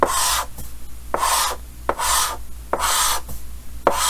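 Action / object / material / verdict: scrape / chalk on a painted chalkboard / chalk / none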